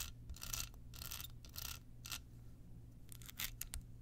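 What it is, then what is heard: Rhinestone-covered card holder. Long pointed nails scratch a small, hollow, rhinestone-covered card holder with a red bow. Short bursts of bright, raspy scratching come and go over a steady low rumble, with quiet gaps between the strokes.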